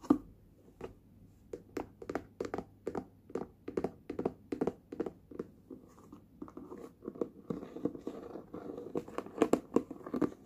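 Fingertips and nails tap the lid and sides of a small, hollow, closed red hard-plastic lunch box in a long run of quick, dry taps. Each tap gives a short, hollow knock with a mid-pitched body and a faint bright click, dying away almost at once. In the second half, a soft scratchy rustle runs under the taps as they come closer together.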